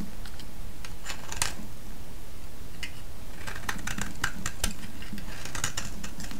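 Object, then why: Bar of soap shaved with a metal blade. A solid orange vintage soap bar held in the hand is scraped and shaved with a metal blade, producing a quick series of crisp, bright scratchy cuts. A steady low rumble sits underneath the whole time.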